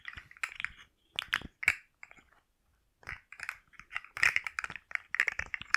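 A hand-sized rainbow segmented plastic slug fidget toy is held in the hand while long nails tap and scratch its segments, making its articulated joints click. Quick, dry, bright clicks and scratchy ticks come in uneven bursts centered around 2 kHz, with almost no low end and very short decay. A brief silent pause falls before the tapping picks up again more densely.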